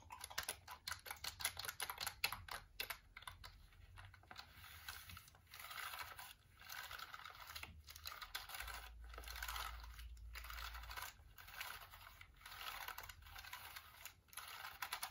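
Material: Plastic.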